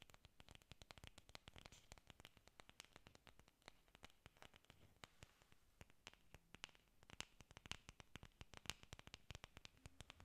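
Long pink nails scratch across the textured faces of a bunch of solid green artificial orchid leaves made of foam or plastic. The result is a quiet, dense stream of rapid, dry, crackling ticks and scrapes that spread from a low rumble up into a bright, hissy top. A faint low hum sits underneath.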